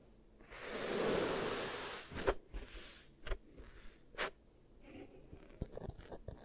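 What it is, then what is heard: Kinetic sand being poked and scratched. Long-nailed fingertips poke, press and scratch the surface of beige kinetic sand in two small bowls, each with a microphone stuck into it. A soft, breathy scraping hiss swells and fades, then gives way to a loose series of short, dry crunches and crisp clicks over quieter rustling.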